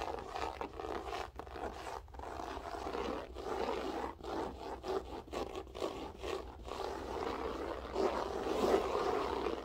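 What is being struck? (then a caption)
Loop-pile carpet. Long nails scratch and flick across the pile of a grey loop-pile berber carpet floor. Irregular bursts of dry, rasping midrange scraping come in quick strokes with brief gaps, growing slightly louder and denser toward the end.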